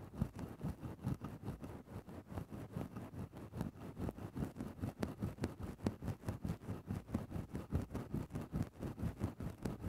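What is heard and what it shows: A wooden stick tip is pushed into a grey synthetic faux-fur microphone windscreen and scratched in small movements, giving a steady run of soft, low, muffled rustling scrapes about twice per second. The sound is dull and close with no bright edge, and each scrape dies away almost at once.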